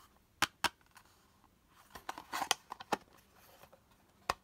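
Fingertips and nails tap and scratch the textured surface of a small, hollow, pink quilted-pattern hard plastic toy purse with a handle, and its lid is opened and closed to show it empty. Sharp, bright plastic clicks stand out against near silence, with a busier stretch of soft scratching and rattling taps in the middle. Each click is dry and dies away almost instantly.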